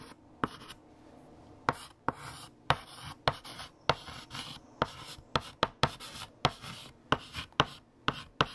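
A hand writes with blue chalk on a large, flat black chalkboard, and the chalk scratches across the surface with bright, dry strokes. About sixteen short, sharp taps mark where the chalk strikes the board between strokes.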